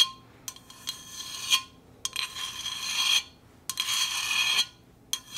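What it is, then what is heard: Stainless steel insulated bottle. A stainless steel Hydro Flask insulated water bottle is tapped and scratched, giving short, clinky metallic taps between longer, bright, raspy scratching passes. A faint ring sits around 3.3 kHz, with almost no low end, and the bursts stop and start at an uneven pace.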